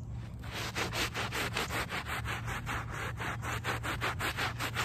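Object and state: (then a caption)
Wet woven rug backing being scrubbed. A small handheld brush with a brown back scrubs the back side of a small wet, soapy, muddy woven rug lying on pavement. Quick, steady back-and-forth strokes make a rhythmic, bright rasping swish over a low background rumble.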